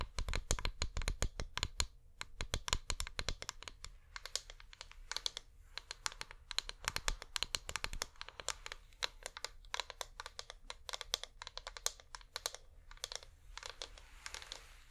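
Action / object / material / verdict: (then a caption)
tap / wax pillar candle / wax / none. Fingernails from both hands tap quickly on a flameless wax pillar candle, making rapid, sharp, dry clicks with bright highs that stop almost instantly. The tapping comes in dense bursts with brief pauses, over a faint low hum.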